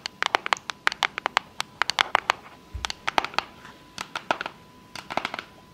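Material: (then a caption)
Cardboard. Long fake nails tap and scratch the surfaces of a small, rigid, hollow pink cardboard box with a unicorn print as it is turned in the hands. A rapid, uneven run of sharp, dry, bright clicks stops instantly, with softer scratchy rustles between the taps. A faint steady tone sits underneath.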